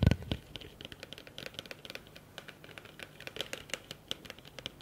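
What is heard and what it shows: Fingertips and nails tap quickly on the outer wall of a large, empty, blue hollow plastic bowl held upside down. About 32 short, dry clicks and taps follow one another with almost no ring, opening with a louder low thump.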